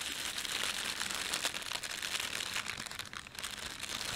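Fingertips rub and pinch a thin red printed plastic bread bag laid over a white plastic bag. The film gives off a steady, bright crinkling with small crackles throughout and almost no low end.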